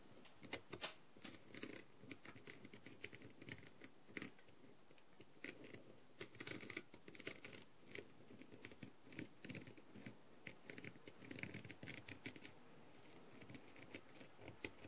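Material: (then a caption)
Plastic. A green tool with a clear plastic tip taps and scratches the gems along the edges of a blue plastic rhinestone-covered masquerade mask. The result is quiet, dry clicks and scrapes that come in irregular bursts, with bright, high ticks over a soft low rustle.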